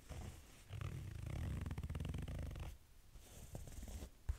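Fingernails scratch along the ribbed fabric of a small cream corduroy backpack held upright, producing a low, rumbling rasp with rapid ridged texture that swells through the middle of the clip. The scratching then drops to softer, sparser strokes, ending with a brief sharper knock near the end.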